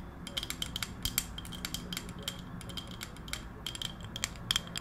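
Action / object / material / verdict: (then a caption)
tap / round wooden coaster / wood / none. Long acrylic nails tap quickly on a round, solid, palm-sized wooden coaster held close to the microphone. Each tap is a sharp, bright click with a faint high ring, coming in an uneven, rapid stream over a soft low rumble.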